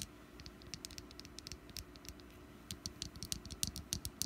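Long nails of both hands tap quickly and unevenly on the ribbed top of a small, solid orange wax pumpkin candle resting on a mat. The taps are light, dry clicks with bright, crisp ticks over soft low thuds, each dying away almost instantly. The tapping is sparse at first, then grows denser and slightly louder toward the end over a faint steady hiss.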